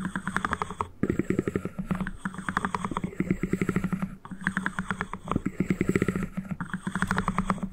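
Fingertips and nails rapidly tap and scratch on the two halves of a small white cardboard ring box held very close to the mic. The result is a dense run of short, dry, hollow taps with a low, boxy resonance and faint scratchy texture, broken by a few brief pauses.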